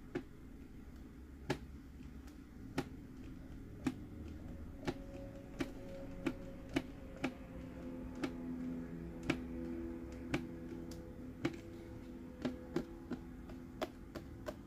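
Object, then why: Hard plastic sipper cup. Fingertips and nails tap on the green hat lid and face of a hollow, hard plastic Mickey head sipper cup held in the hands. Sharp, dry clicks come at an irregular pace, each decaying almost instantly, over a faint steady low hum with soft sustained tones.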